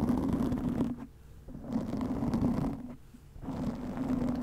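Long nails slowly scratch a black foam windscreen over a microphone, producing a close, muffled rasping rustle centered in the low mids with almost no high-end content. The scratching comes in three passes separated by two short, quiet pauses.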